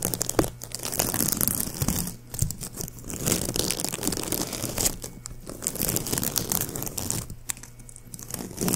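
A palm-sized white shiny plastic ribbon gift bow with hollow loops, held in one hand next to the mic, is crumpled and rubbed by fingers. Dense crinkling and crunchy crackles fill the clip with bright, high hiss, easing into brief quieter pauses before resuming.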